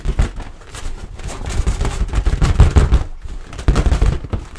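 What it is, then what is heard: Latex balloon. A medium inflated orange latex balloon, hollow and air-filled and mostly clean with a little shaving foam left on it, is held in the hands and tapped and scratched with long white-painted nails. The result is a steady run of dull, low, muffled thumps with soft scratchy rustling between them and almost no high-end brightness.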